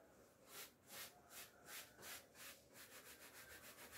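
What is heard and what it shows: A handheld bristle clothes brush with a wooden back is rubbed down the front of a navy cotton-look twill coat hanging on a door, with a hand holding the coat, to remove hairs from the fabric. Soft, bright, airy swishes repeat steadily at first, then turn into quicker, shorter strokes toward the end.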